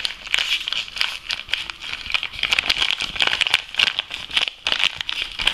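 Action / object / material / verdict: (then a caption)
scrape / foil-lined plastic coffee bag / foil-lined plastic / none. A medium-sized Lavazza espresso coffee bag made of foil-lined plastic, partly empty, is crinkled, squeezed and rubbed with fingers and nails. The result is a dense, continuous run of bright, crisp crackles and crinkles concentrated in the upper range, with almost no low end and each rustle dying away instantly.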